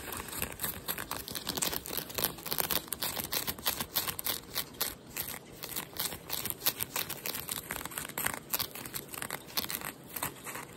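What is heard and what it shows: Nails and fingertips scratch worn blue denim jeans around the button, fly and back pocket. The result is a steady run of quick, dry, bright scratching strokes with a rough, crinkly texture and little low end.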